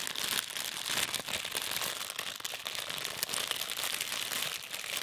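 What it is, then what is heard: Crinkled plastic bag. A small, thin, empty, transparent plastic bag is held in both hands while the fingertips crumple and crinkle it throughout. The result is a steady stream of dense, bright, crackling rustles with sharp little snaps and almost no low end.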